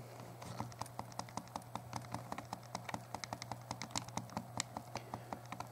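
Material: Plastic.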